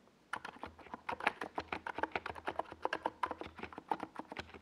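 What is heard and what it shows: Rapid fingertip typing on a NiZ Plum Atom 68, a compact 68-key mechanical keyboard with a hollow white plastic case and purple and yellow Domikey Gas Attack SA plastic keycaps, resting on a desk pad. About 28 quick, short clacks follow one another after a brief silent start. Each tap is a dry, hollow plastic click centered in the mid range with a little bright edge and almost no ring.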